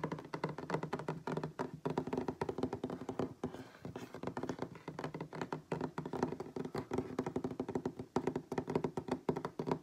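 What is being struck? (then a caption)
Wooden tabletop. Fingertips and nails of both hands tap rapidly on a solid wooden tabletop, producing a fast, continuous stream of short, dull knocks. The taps are warm and woody with a low-mid tone around 375 Hz. Each tap dies away almost instantly, with only a brief pause near the middle.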